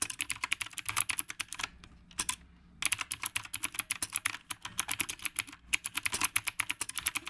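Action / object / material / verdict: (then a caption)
tap / mechanical keyboard with round plastic keycaps / plastic / none. Fingertips of both hands type continuously on a black retro typewriter-style mechanical keyboard with round plastic keycaps. The result is a rapid stream of sharp, bright clicks with almost no low end. The typing pauses briefly just before the three-second mark, then resumes at the same pace.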